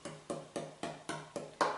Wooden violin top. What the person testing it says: it's just a really deep nice tone I don't hear any buzzing